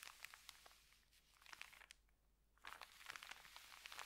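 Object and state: Paper bag being scratched.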